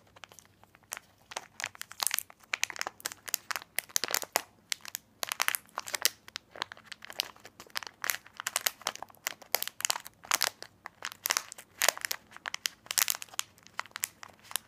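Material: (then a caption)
Plastic. A small, full, sealed plastic snack pack of candy corn is held close and squeezed and rubbed between fingers and thumb. It gives a steady run of bright, sharp crinkles and crunches that tick rapidly on and off with short quiet gaps.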